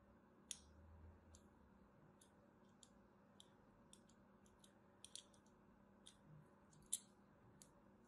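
A thin metal blade scores a crosshatch pattern into the surface of a solid white soap bar held in the hand. The result is a series of quiet, sharp, bright scratching clicks, each dying away almost at once, over a low, steady background hiss.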